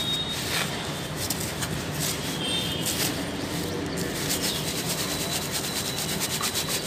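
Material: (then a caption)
Soil. A rectangular yellow plastic basket with perforated sides, full of dry red soil, is held in both hands and shaken side to side so the fine soil sifts through the holes. A steady, bright, grainy rustling and hissing runs at an even level for about seven seconds, with faint repeated rattling pulses.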